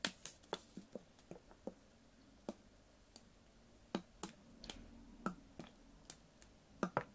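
A clear, ribbed PET water bottle with a blue cap, full of water and held in one hand, is tapped with fingernails. Thirteen quiet, sharp clicks come at an irregular pace, each with a bright top and a short dull ring around 570 Hz that dies away almost at once. A brief pause falls near the middle.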